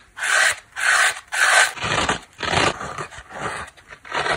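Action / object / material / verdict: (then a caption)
scrape / foam kitchen sponge with abrasive scouring pad / foam / none. Long black nails scratch a small, dry, layered dish sponge of yellow foam, black scouring pad and blue cloth, first on the yellow foam and then on the black abrasive face. Each stroke is a bright, raspy rub centred around 1.5 kHz, in a steady series of short bursts. The later strokes turn grittier and more uneven.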